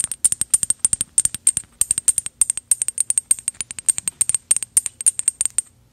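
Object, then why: Small metal decorative bottle. A small gold metal decorative bottle with an ornate cap is held upright and tapped with paperclip fake nails in quick, uneven bursts, about 48 light taps in all. Each tap gives a crisp, bright metallic tick with a high, faint ring that dies away almost at once, with almost no low end.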